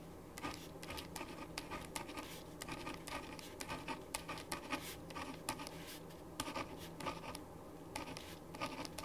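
A ballpoint pen writes in dense scratching strokes on a thin printed paper sheet lying flat on a wooden desk. Quick, bright scratches and taps come in uneven bursts over a faint steady hum.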